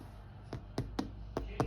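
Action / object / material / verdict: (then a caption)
knock / white bread loaf in a baking tin / bread / hollow. A homemade white bread loaf in a sponge tin, baked for about half an hour in the oven, is knocked five times, giving short, dull, low thuds. The knocks sound hollow, showing the loaf is baked through.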